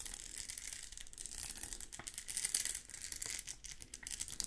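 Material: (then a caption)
Plastic. A hand-sized, thin, flexible sheet of small pink and clear plastic rhinestones on a clear plastic backing is bent, scratched and rubbed with long pink nails. The result is a quiet, steady stream of bright, crisp crinkling and scratchy ticks, almost all in the high range with very little low end.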